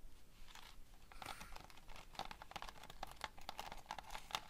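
Long fingernails on both hands rapidly scratch and tap across a framed foam board, a flat solid panel covered in pinned plastic sequins that form a tiger picture. The result is a quiet, dense stream of crinkly scratching, punctuated by many short, bright plastic clicks that die away almost instantly.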